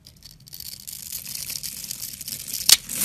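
A metal utility-knife blade scores lines into a solid rectangular green bar of soap held in the hand and slices off small cubes, producing a soft, bright, hissing scrape that gradually builds. A single sharp, crisp snap stands out near the end as a cube cuts free, followed by more scraping.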